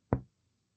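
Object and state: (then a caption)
Normal resonant lung note on chest percussion. A single percussion tap on the human chest wall over the lung, struck at an intercostal space along the midclavicular line below the angle of Louis. It gives a short, low, hollow knock with a pitch around 120 Hz that fades within about two-tenths of a second. This is the normal resonant lung note.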